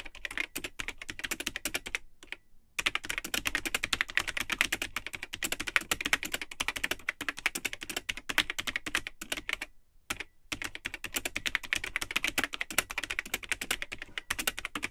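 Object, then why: Plastic computer keyboard. Fingertips type continuously on the built-in keyboard of a vintage Tandy 1000 HX all-in-one computer, which has a cream plastic case and hollow, yellowed plastic keycaps. Rapid, bright, hollow plastic clicks and clacks stream steadily, broken by two short pauses. Each keystroke is dry with almost no ring.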